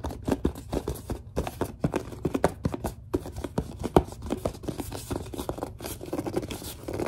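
Long dark nails scratch and grip a large, hollow, white plastic Suave lotion bottle, producing a rapid run of short, dry scratches and squeaky rubs. The clicks are dense and closely spaced, with a low plasticky body, almost no ring, and one sharper tap near the middle.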